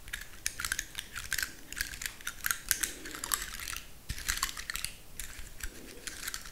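Long nails scratch the scales of a large, dry, woody pine cone held in the hands and flick their tips. The result is a fast, uneven stream of dry, bright clicks and ticks that stop instantly with no ring. Faint, soft rustling sits underneath.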